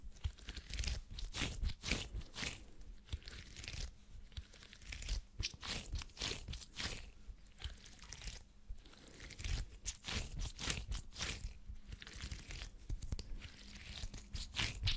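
A small, purple, flexible plastic or silicone grid mesh is held up and scratched with the fingernails. It gives dense, irregular bursts of crunchy, crackling scratches with bright, hissy edges and a thumping low end. The strokes come quickly, several per second, with short pauses between flurries.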